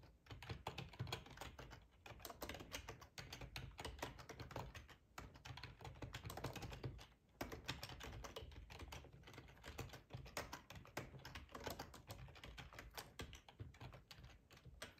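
Fingertips type steadily on a black plastic ergonomic split keyboard with a hollow housing, resting on a cloth tablecloth. The quick, dense clacks have a hollow, low thud and a short, dry decay, with bright clicks on top. The typing pauses briefly a few times, near 2, 5 and 7 seconds.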